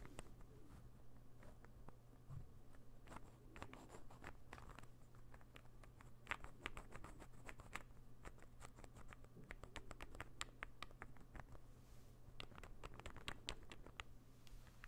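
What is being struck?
Small interlocking wooden ball puzzle.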